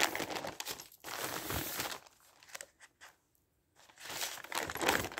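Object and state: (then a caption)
Newspaper pages rubbed and turned. Flat newsprint pages of a newspaper are rubbed with the palm and fingertips, then lifted and turned, giving a dense, bright crinkling and rustling. It is busy for the first two seconds, drops to faint scattered rustles and a brief near-silence, then swells again into loud crinkling at the end.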